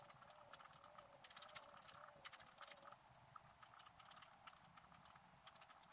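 A thin wooden stylus scratches short, quick strokes into one spot on a flat, about A5-size sheet of coated scratch-art paper with a printed sorceress picture, lying on a white table and held down by one hand. The result is a quiet, rapid series of dry, bright, hissy scratches with no low end, each stroke cutting off almost at once.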